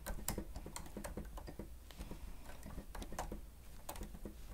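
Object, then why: Plastic stenotype keyboard. Fingertips of both hands press and tap the keys of a grey plastic stenotype keyboard with a hollow housing while typing. A quick, uneven run of short, dry clacks and ticks, some with bright tops, rises over a steady low hum. Each tap dies away almost immediately.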